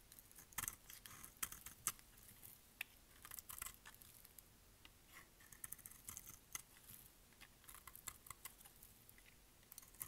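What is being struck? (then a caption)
Bar of soap cut with a blade. A solid rectangular purple dry bar soap, held in the hand, is shaved with a utility knife blade. Quiet, crisp scraping and cutting sounds come in short, bright, brittle clicks and crackles over a faint background hiss.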